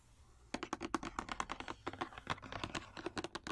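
A long, rectangular, hollow printed cardboard wax paper box, held upright in the hand, is tapped and scratched along its faces with long orange acrylic nails. After half a second of quiet, about 25 rapid, crisp taps follow, each with a hollow papery body around 320 Hz and a bright clicky top. Every tap dies out almost instantly.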